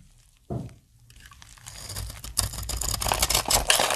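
A snap-off utility knife blade cuts and shaves flakes from the edge of a solid, palm-sized green dry soap bar with embossed lettering, held in the hand. After near silence and a single soft knock, a dry, crisp scraping builds into dense, bright crunching and crackling as the blade bites through the soap.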